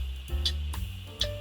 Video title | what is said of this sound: 【初階金工】新手第一課：從挑選鋸弓到不斷鋸絲的關鍵技巧 - 老歪金工創作室 YSJ Maker | A loose saw wire will make a dull sound like this. This sound means no tension has been applied.